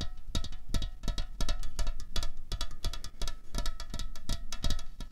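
A slim, hollow aluminium Coca-Cola Cherry can lying on a tablecloth is tapped rapidly with fingernails. The taps are quick, bright clicks over a dull low thump, each dying away almost at once, in an uneven rolling rhythm.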